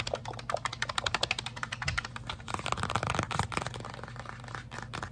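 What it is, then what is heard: Cardboard card box tapped and scratched. A small printed cardboard box of Avengers-edition UNO cards, held close, is tapped and scratched fast by fingertips and short painted nails. The result is a dense, irregular run of short, dry, crackly clicks and scrapes with bright high edges and a low steady hum underneath. The clicks run together, so individual hits can't be counted.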